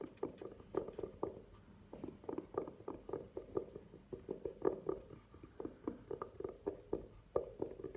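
Long nails scratch and tap across a hollow, burgundy velvet-covered hard jewelry case standing upright on a table. The result is a quiet, rapid series of soft, muffled scrapes and taps with a mid-pitched hollow tone. Each stroke dies away almost at once.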